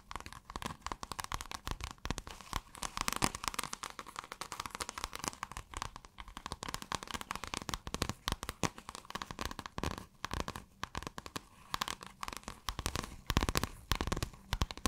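Long acrylic nails scratch a rolled or folded piece of pale blue, scale-textured iridescent fabric. The result is a dense run of rapid, dry crackling and crinkling scratches that spread from low to bright highs, with a faint steady tone near 1 kHz underneath. The scratching comes in quick bursts with short pauses.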